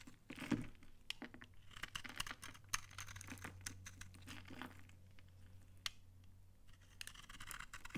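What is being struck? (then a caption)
Bar of laundry soap cut with a knife. A utility knife scrapes dry shavings off a solid, dry brown laundry soap bar embossed "Банное" that is held in the hand. Crisp, crunchy scraping and sharp bright clicks come in quick irregular bursts over a faint steady low hum.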